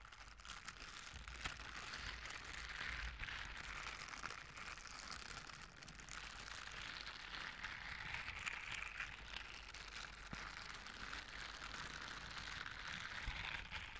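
A pair of blue silicone dishwashing gloves with bristle pads on the palms, worn on both hands, are rubbed and scratched against each other palm to palm and finger to finger in front of the microphone. This makes a dense, continuous bristly scratching and rustling with a bright, hissy texture centered around 2 kHz. It holds at a steady, fairly quiet level for the whole fourteen seconds over a faint low rumble.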